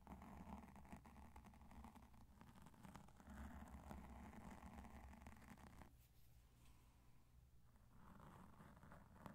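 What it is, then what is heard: Foam microphone windscreen being brushed. A cotton swab in each hand scratches and brushes over the surface of a black foam microphone windscreen. The result is a quiet, continuous, muffled scratching and rustling that is heavy in the low end, easing into a softer, thinner stretch around the middle before the denser brushing returns.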